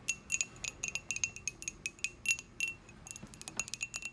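Long acrylic nails tap on the outer wall of a small, dark glazed, hollow ceramic mug held up in the air. About 22 quick, light taps are heard, each a bright, short clink that rings near 2.7 kHz and dies away almost at once, with little low end.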